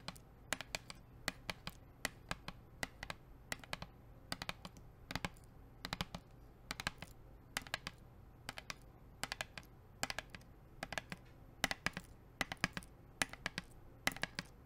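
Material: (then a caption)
Plastic. Long acrylic nails tap and scratch a hollow blue plastic sports water bottle with a black cap, held upright. Quick clusters of sharp, bright, clicky taps die away almost instantly, with faint scratching between them. A low, steady hum and a faint, thin, high tone run underneath.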